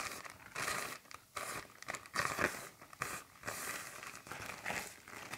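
Fingertips and long nails crumple and pull the film of a large, thin, empty black plastic garbage bag, and at the end a folded edge is held between the fingers. Dense bursts of bright crinkling and tearing-like rustles come in uneven waves, with brief quieter gaps between them.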